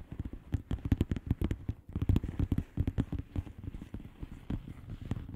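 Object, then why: Plastic bubble wrap envelope. Long polished nails of both hands tap rapidly on the bubbles of a flat, hollow plastic bubble-wrap mailer lying on a surface. The result is a quick, irregular patter of short, dull, low thumps, each with a faint crisp click and almost no ring.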